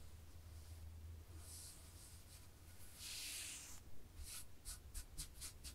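Long fingernails scratch across black and white textured knit fabric laid flat while hands move over it, giving a quiet, soft, rasping hiss over a low, steady hum. A longer, brighter scraping stroke is followed by a run of short, crisp scratches near the end.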